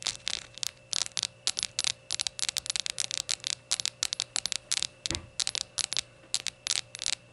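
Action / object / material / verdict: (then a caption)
tap / glazed ceramic shot glass / glazed ceramic / none. Long nails scratch and tap rapidly over the glossy glaze of a small hollow rainbow ceramic shot glass standing on a towel. The result is quick bursts of bright, dry clicking and scratching, with almost no low end and each hit dying away instantly.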